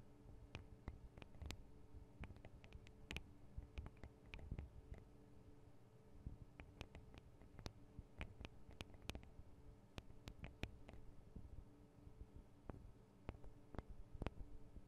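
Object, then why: Metal microphone guard arms of a handheld recorder. Long acrylic nails tap on the thin metal microphone guard arms and capsules of a Tascam DR-40 recorder. They make many quick, sharp ticks and clicks with bright edges and almost no ring. The ticks sit over a quiet, steady low hum.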